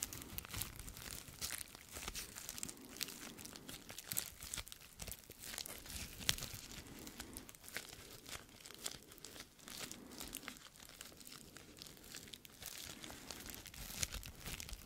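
A small sheet of clear plastic bubble wrap with air-filled bubbles, held in both hands, is crinkled and popped with the fingertips. A dense, steady stream of bright crinkling and sharp little pops and snaps continues throughout, with faint low rustling underneath. The snaps die away almost instantly.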